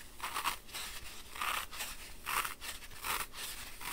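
Fingertips with short nails press and rub into the top of a round, solid, dry green floral foam block, roughly palm-sized, resting on a white surface, crushing it and leaving finger-shaped dents that deepen as it goes. Five crunchy, crumbly bursts centred around 1 kHz with bright, hissy highs rise out of a quieter rustling scrape. Each burst fades quickly without any ring.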